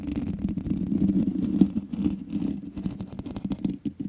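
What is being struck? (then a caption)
Metal mesh microphone grille. Both hands scratch long manicured nails across the hollow, rounded metal mesh grille of a large black USB condenser microphone. The result is a dense, continuous scratchy rasp with a strong low-mid body and brief louder scrapes. It breaks into shorter, choppier strokes near the end.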